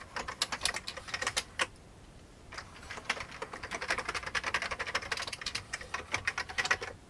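Fingertips press the keys of an old beige plastic computer keyboard as the hand moves in and out of view. A quick burst of sharp, bright, clicky keystrokes stops for about a second. A longer, denser run of rapid clacks follows, each short and dry with almost no low end.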